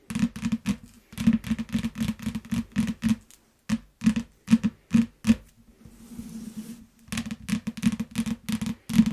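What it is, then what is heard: Plastic-wrapped paperback book. Long nails tap quickly on a yellow paperback book sealed in shrink wrap, making short, dry, crinkly taps with a low thud near 220 Hz and a bright plastic click on top. Around the middle, the tapping gives way to a softer, hissy scratching on the wrap while the book is turned around. Brisk tapping then resumes.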